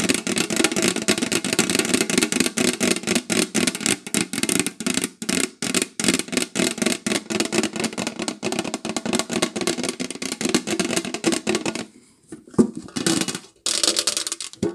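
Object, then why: Metal cookie tin. Long nails tap rapidly on a round printed metal cookie tin, first on its lid held upright and then on the closed tin resting on a table. The result is a dense stream of short, dry metallic clicks with a hollow tone around 230 Hz and a bright high edge. The taps pause briefly near the end before a few sharper ones resume.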